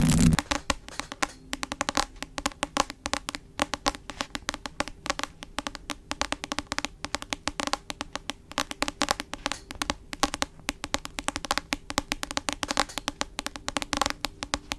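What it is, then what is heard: Hardcover book. A medium-sized hardcover book with a glossy cover is held upright in both hands in front of a microphone while long acrylic nails tap and scratch its solid cover. Rapid, crisp clicks and scratchy strokes follow one another continuously, each dying away almost at once. A faint hollow low body sits under the bright tapping.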